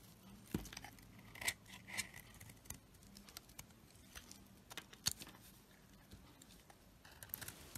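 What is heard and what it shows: A knife blade scrapes and peels thin shavings off a solid black and pale yellow bar of soap with a black coating, held in the hand. Quiet, dry, bright scraping and crisp ticking come in short bursts, with a few sharper clicks standing out over a soft hiss.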